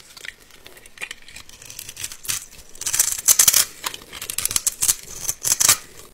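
A metal box-cutter blade slices and scrapes a solid, palm-sized bar of yellow soap held in the hand, cutting it into crumbly cubes and shavings. Crisp, dry scraping and crackling cuts come in quick bursts, almost entirely high and bright with very little low end. Each cut stops short with no ring.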